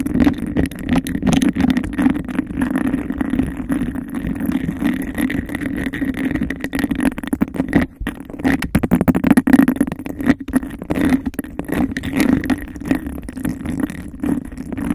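Long decorated nails quickly tap and scratch a hollow, empty, hand-sized cup of textured glass. The result is a dense, continuous stream of rapid clicks and rough scraping over a steady hollow tone around 266 Hz, with each tap dying away almost at once.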